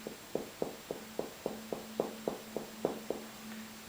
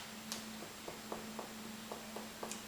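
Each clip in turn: First: resonant chest percussion over air-filled lungs. Second: dull percussion note over solid liver.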